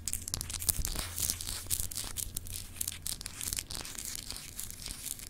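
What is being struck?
Solid glass globe paperweight.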